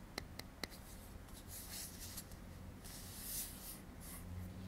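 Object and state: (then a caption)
Metal aerosol can. A hand-sized metal aerosol deodorant can with a blue cap is held in both hands while fingertips tap and scratch on its metal side and bottom end. Three sharp, quick taps with a brief metallic ping come first, followed by soft, continuous bright scratching and rubbing over a low, quiet background.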